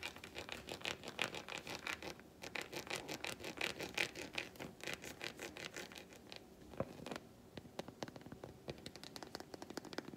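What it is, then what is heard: Milk chocolate bar. A solid, flat milk chocolate bar held in the palm and turned between its smooth back and segmented front is tapped and scratched with long white nails. Quick, irregular scratches and clicks come in dense bursts with bright, high content and short, dry decays. The scraping runs continuously, with a few sharper taps standing out near the end.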